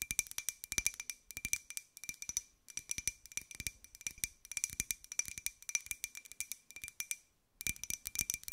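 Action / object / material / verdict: tap / small ceramic jar / ceramic / none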